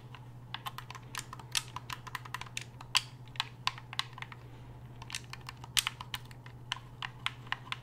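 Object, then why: Hard-plastic game controller. Fingers click the buttons and shoulder triggers of a black hard-plastic gamepad held upright, producing a rapid, irregular run of short, bright plastic clicks that stop almost instantly. A steady low hum runs underneath throughout.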